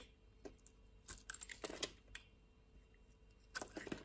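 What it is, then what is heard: Bar of soap being carved. A solid purple bar of soap, held in a hand with long nails, is sliced and carved with a utility knife. Short, crisp cutting and scraping strokes come in scattered bursts with bright, brittle crackles. A longer cluster falls in the middle and another at the end, separated by quiet pauses.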